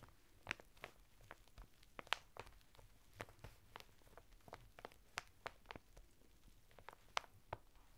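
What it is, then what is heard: Packaged woven fibre bath mitt being scratched. Fingertips scratch and rub the textured surface of a flat bath mitt of coarse woven natural fibre, sealed in a thin printed plastic packet and lying sideways on a table. Quiet, dry crinkling is punctuated by a series of sharp, bright scratches and crackles that stop instantly, over a faint low rumble.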